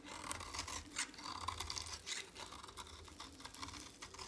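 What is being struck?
Bar of soap shaved with a blade.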